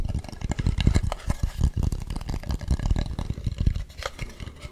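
Fingernails scratch and tap the textured, painted ridges of a hand-carved wooden mask with a hollow back, held close to the mic. A steady run of dull, low, hollow knocks mixes with brief, dry scraping rasps, each tap dying away almost at once.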